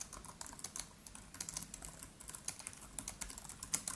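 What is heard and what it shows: Both hands type quickly with the fingertips on a MacBook Pro's built-in keyboard, black plastic keys set in an aluminium body. A steady stream of light, bright clicks with short, crisp decay runs throughout, about 26 distinct taps over four seconds at a soft level.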